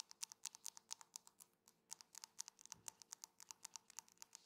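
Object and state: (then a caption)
Drinking glass tapped. A drinking glass is tapped repeatedly in a quick, uneven rhythm. Each tap gives a very short, bright clink with almost no low end and barely any ring. There are about 32 taps, with a brief pause near the middle.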